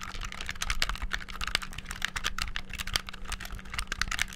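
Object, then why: Handheld plastic game controller. Fingertips rapidly press the buttons on a black, hollow, handheld plastic game controller. A fast, uneven stream of sharp, bright plastic clicks and clacks fills the clip, each one dying away almost instantly, over a faint steady low hum.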